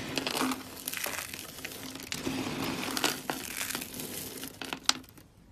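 Bare fingertips squeeze, crush and crumble a pile of small dry pink, green and white soap shavings in a wooden tray. Dense, bright crunching and crinkling continues throughout, with sharp snaps near the start, middle and end over a faint steady low tone. It fades out quietly at the end.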